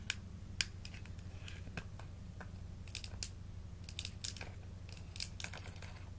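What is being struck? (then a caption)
Small plastic supplement bottle with plastic screw cap. A small clear plastic supplement bottle with a blue label and a blue plastic screw cap, full of dark red gummies or capsules, is held in the hands and tapped and scratched with long acrylic nails on the cap and sides. Quiet, sharp, bright clicks and short scratchy strokes come in scattered bursts over a steady low hum.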